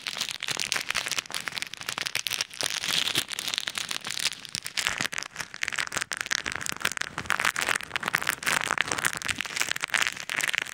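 Fingertips squeeze and rub a small clear plastic bag filled with pink and white plastic pearl beads over an ear-shaped microphone. The result is a dense, continuous crackling rustle of tiny clicks and shifting beads, bright and thin with almost no low end, for about eleven seconds.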